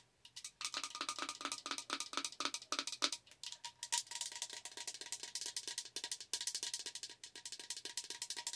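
Long acrylic nails tap quickly and repeatedly on the sides and lid of a tall, hollow green-blue plastic tumbler with a lid and straw. The taps are short, dry, bright clicks that stop almost at once. The early taps have a hollow, low body, and later ones carry a faint steady tone near 900 Hz.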